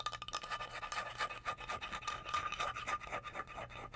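A flat, solid, light wooden cutting board, about 30 cm, is held up while long blue acrylic nails scratch and tap quickly across its face. The result is a fast, uneven run of dry, bright clicks and scrapes, with a thin steady tone near 1.2 kHz running underneath.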